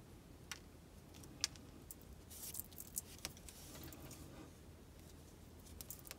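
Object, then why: Solid bar of soap tapped with fingernails. An unwrapped, hand-sized rectangular bar of pale pink soap is held in both hands and tapped and scratched with long acrylic nails. About a dozen sharp, bright clicks stand apart over a soft, steady low hum, with a brief hissy scratching stretch in the middle.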